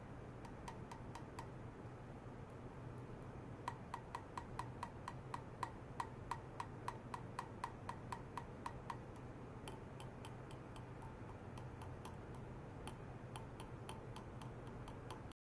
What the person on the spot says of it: ステンレス線を叩いて超音波の伝搬現象を確認する実験（超音波伝搬特性テスト）